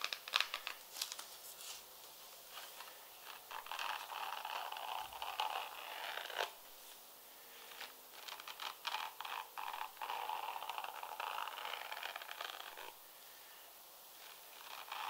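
A single purple leather high heel pump with a slim heel, hollow inside, is held in the hand and tapped and scratched with long red-painted nails. Quick, dry clicks and bright, scratchy rasps come in irregular bursts, separated by short quiet pauses.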